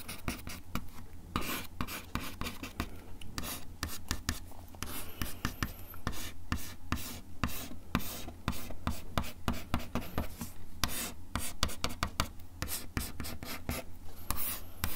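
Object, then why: Wooden desk top scratched with a bamboo pick. The tip of a bamboo ear pick scratches the solid, flat surface of a brown wood-finish desk top in quick, repeated strokes. Each stroke is a short, dry, bright rasp that stops at once, over a steady low hum.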